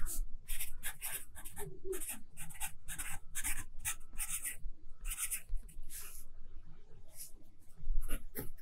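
A graphite pencil writes across an open lined paper notebook lying flat, its tip scratching steadily over the page. The sound is a series of short, bright, hissy strokes over a faint low rumble.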